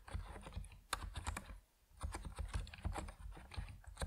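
Fingertips of both hands type steadily on an Epomaker NiZ Plum Atom 68, a 68-key compact mechanical keyboard with white and purple PBT plastic keycaps on a white case, resting on a wooden desk. Quick, dense keystrokes land as short, deep clacks with brief bright ticks and very little ring, broken by a short pause near the middle before the typing resumes.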